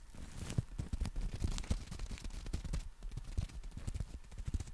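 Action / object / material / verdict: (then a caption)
tap / folded nylon umbrella / nylon / none. Fingertips tap and scratch the canopy of a folded black nylon compact umbrella. The result is a steady run of soft, dull, low thuds that die away at once, with faint brushy scratching between them.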